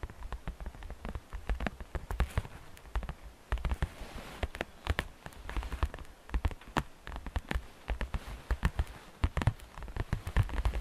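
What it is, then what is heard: Plastic basket tapped with fingernails. Long fingernails of both hands tap rapidly on the flat side wall of a hollow, transparent, green glittery plastic basket with grass inside. The result is a dense, uneven patter of short, dry clicks with a low hollow thump under each one. Every tap dies away almost instantly, and bright ticks sit on top.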